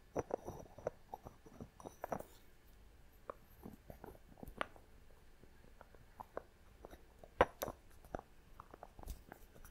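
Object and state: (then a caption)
Glass box with wooden lid. Long nails tap and scratch on a small clear glass box with a thick wooden lid, held in the hand, moving between the wooden lid and the glass sides. The result is a quiet, irregular run of short, dry clicks and light scraping, with a few brighter, sharper taps standing out.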